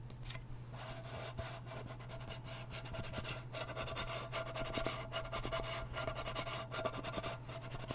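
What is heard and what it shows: Fingertips and nails scratch and rub the lid and rim of a small round blue metal Nivea cream tin held sideways. It makes a continuous, fast, irregular scratchy rasp with bright texture over a steady low hum, and a faint ringing tone runs through the middle of the clip.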